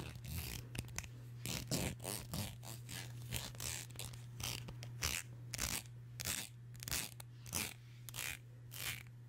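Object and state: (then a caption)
Plastic comb scraped. Long nails scrape and strum along the teeth of a solid black wide-tooth plastic comb held in front of the mic. Bursts of bright, rattling, zipper-like clicks repeat at an uneven pace over a steady low hum.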